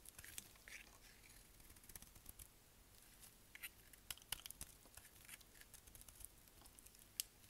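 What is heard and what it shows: A solid black dry bar soap, held in hand, is shaved along its edge with a utility knife blade. The result is quiet, irregular, bright scraping and crackling, with a few sharper clicks as the blade catches.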